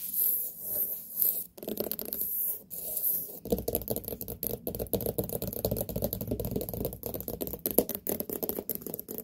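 Long nails tap and scratch the rind of a large, whole, hollow white pumpkin. Soft, bright scratching strokes come first, then a rapid run of dull, hollow taps with a low thud underneath and a quick decay.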